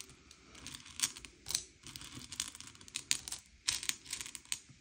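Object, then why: Small sugar-shelled chocolate candies on a plate. Fingertips slide and push a pile of small, hard, sugar-shelled M&M's candy-coated chocolates across a grey plate, sorting them by colour. The candies make quiet, bright clicking and rattling in short, uneven bursts, with crisp high ticks and almost no low end.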